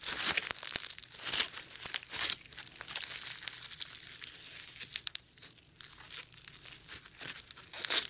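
A sticky lump of foam bead slime is squeezed in the fist, pressed with the thumb, then stretched out by hand. It gives dense, bright crackling and crinkly popping in rapid bursts that swell and fade over about eight seconds, with almost no low end.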